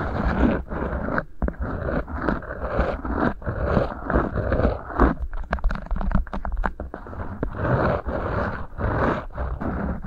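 Fingertips rub and scrape two rolled beeswax-coated cotton food wraps sitting over the mic capsules. The result is a dense, close scratchy rustle with a heavy low rumble, coming in sweeping strokes with brief pauses and some sharper crackly flicks in the middle.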